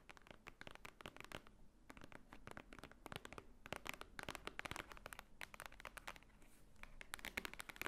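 Long nails tap rapidly on the top cover of a large, thick, white-edged book lying flat, a solid stack of paper. The taps are quick, dry and clicky, with bright edges and almost no ring, scattered in uneven bursts over a faint low background hiss.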